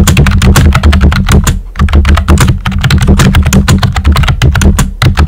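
Fingertips with short nails type on a pink and white plastic computer keyboard with round, typewriter-style hollow keycaps. Rapid, bright clacking keystrokes run over a steady low hum, with a brief pause near the middle before the typing resumes.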